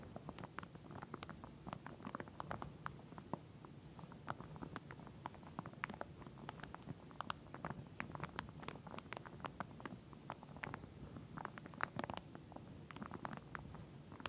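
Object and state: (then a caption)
Plastic comb in plastic wrapping. Long nails tap and scratch across the teeth of a pink plastic wide-tooth comb lying flat in clear plastic wrapping. Dozens of quick, dry, bright plastic clicks and scrapes come in an uneven stream over a faint, soft crinkling rustle, each one dying away almost instantly. The overall level stays quiet throughout.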